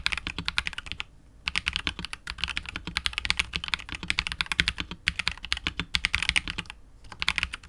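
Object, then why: Mechanical keyboard with plastic keycaps and plastic case. A 65% KBD67 Lite R2 mechanical keyboard with KTT Wine Red switches, PBT keycaps and a hollow, clear translucent polycarbonate case is typed on continuously with the fingertips of both hands. Rapid, bright, crisp clacks with very short decay come in bursts, separated by brief pauses near 1.2, 5 and 6.8 seconds, over a faint low hum.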